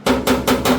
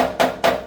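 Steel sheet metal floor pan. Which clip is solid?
The second.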